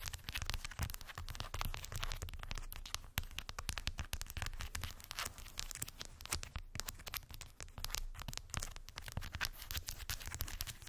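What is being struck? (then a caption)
Wooden beads on a cork board. Long white acrylic nails tap and scratch over a small rectangular cork board densely covered with solid round wooden beads. The result is a steady, rapid stream of short, dry clicks and rattling scrapes with a bright crackly edge over a low, soft rumble. The sound stays at an even level throughout.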